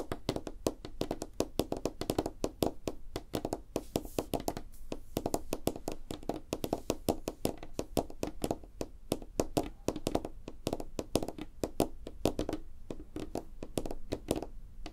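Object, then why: Plastic smartphone back. A white smartphone with a glossy plastic back lies face down on a wooden desk and is tapped quickly on the back with the fingertips and short nails of one hand. A steady stream of rapid, dry, clicky taps with a low-mid body and a bright tick, each dying out almost instantly.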